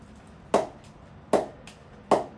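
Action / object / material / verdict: strike / willow cricket bat struck by a ball / willow wood / none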